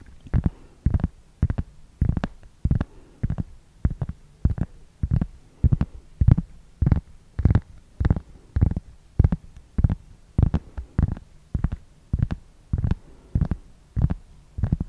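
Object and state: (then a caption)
Round cork board. A large, flat, round, solid cork board or coaster is moved around close to a microphone and scratched with fingernails. It makes a steady run of short, dull, low thumping and rustling bursts, each with a brief bright scratchy edge, repeating roughly every half second at an uneven rhythm.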